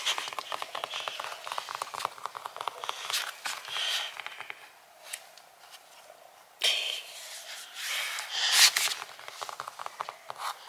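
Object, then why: Textured rubber floor mat. Fingertips and nails rub and scratch across a large, flat, solid black rubber floor mat with a raised diamond-plate pattern. The sound is a dense, bright, crackly rasp of quick scratches, fading to faint soft rubbing midway before resuming abruptly and louder toward the end.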